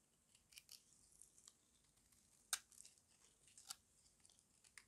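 A small metal blade shaves and scrapes the edge of a solid oval bar of dry white soap held in the hand. Quiet, bright, crisp scraping and crunching comes in irregular bursts, with two sharper, louder snaps partway through.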